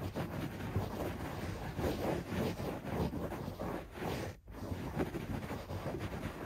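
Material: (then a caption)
Carpet fibre. Both hands scratch a beige shag carpet on the floor with fingertips and nails, producing a dense, continuous rustling and scratching that is mostly low and muffled, with little brightness. The scratching comes in steady surges, then drops into a brief near-silent pause around the four-and-a-half-second mark before resuming.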